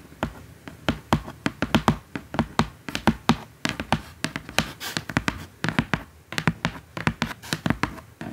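Long acrylic nails tap rapidly and irregularly on the printed top surface of a large, flat, hollow brown corrugated cardboard box. The result is a quick stream of short, dry taps with bright clicky edges over a soft, hollow, low body, each dying away almost at once.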